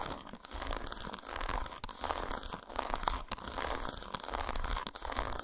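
Long nails scratch along the grooves of an unwrapped solid dark chocolate bar lying patterned side up on a towel. Dry, crinkly rasping comes in uneven bursts with brief pauses, bright and scratchy on top with a soft low rumble underneath.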